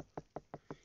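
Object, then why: Watermelon. A watermelon in the field is knocked on to check whether it is ripe. Four dull, hollow knocks land about a fifth of a second apart, each short and quickly damped, with low-mid body and almost no high end.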